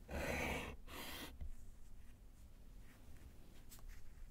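A gloved hand writes with yellow chalk on a small, solid slate chalkboard in a wooden frame. Two loud, bright scratching strokes come first, followed by a low tap and a stretch of faint, softer chalk scratches.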